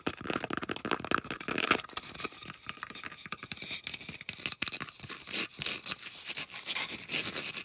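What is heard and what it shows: Long acrylic nails scratch fast across the flat surface and rim of a round, solid, thick white polystyrene foam disc. The result is a dense, continuous run of dry, squeaky scrapes and scratches that sound bright and hissy, with very little low end.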